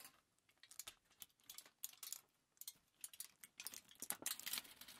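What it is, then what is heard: Crinkled aluminium foil. A crumpled thin aluminium foil sheet is lifted at the edge while fingers crinkle and rub it. The result is a quiet, bright, crackling patter of many sharp crinkles that die away almost instantly, in irregular bursts that grow busier toward the end.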